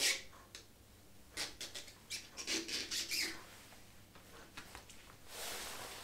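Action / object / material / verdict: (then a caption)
scrape / rubber rain boot / rubber / none. Fingertips in turquoise rubber gloves rub and scratch along the shaft of a hollow, empty, glossy black rubber ankle rain boot. A series of bright, squeaky scrapes and short high rustles comes in quick bursts, with soft glove rustle in between. The clip ends in a steadier, hissing rub.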